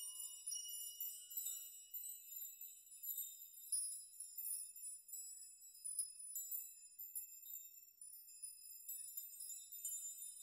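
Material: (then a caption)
Metal. Fingertips brush and shake through a chime of many long hanging metal nails, so the nails knock against each other. The result is a quiet, continuous shimmer of bright, high tinkling with short rings and no low end, rising and falling in small clustered bursts.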